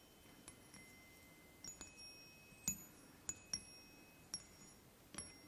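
Fingertips tap three hollow aluminium chime tubes mounted on a wooden block, striking about eight quiet, irregularly spaced notes. Each tap gives a bright, high ring that fades quickly over a soft background hiss.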